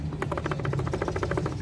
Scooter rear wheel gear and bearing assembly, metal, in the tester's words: pag inalog nyo, natunog siya. ... So yan ang tunog nya, guys, pag may issue yung inyong gearings.